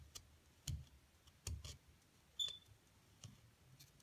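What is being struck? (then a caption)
Plaster block and thin metal pick. A thin metal pick scrapes and digs into a solid white plaster block with a carved-out area on top, while the other hand, with long gold nails, holds the block steady. Quiet, irregular scratchy clicks and dull low thumps are spaced out across the clip, and one sharper tap gives off a brief high metallic ping.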